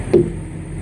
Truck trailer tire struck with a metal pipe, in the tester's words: make sure you get a good ping out of the tire. You hear that? Yeah. You know, like a tight drum.